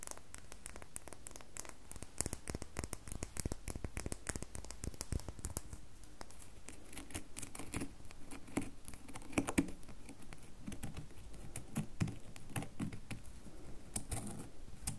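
Long nails tap rapidly on the surface of a solid red bar soap that is held and briefly set down on a table. The result is a dense, steady patter of short, dry clicks, each dying away almost at once and weighted toward a soft low thud, with occasional louder taps standing out.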